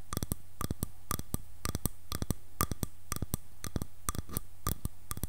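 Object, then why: Wooden hairbrush back. Long nails tap and scratch the back of a light, solid wood hairbrush held upright, producing quick clusters of sharp, dry clicks that stop almost instantly. The clicks come in bursts about every half second, with a bright edge over a steady low hum.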